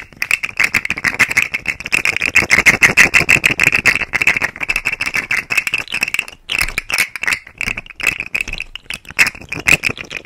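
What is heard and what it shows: A rainbow segmented plastic articulated fidget slug toy is held by the fingers at its tail end and flexed, so its segments click against each other. The result is a rapid, irregular, bright rattling of dry, short clicks centered around 2 kHz, with a brief pause just past the six-second mark before the clicking resumes.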